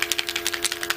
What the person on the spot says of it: they have the little balls inside them, so you shake it up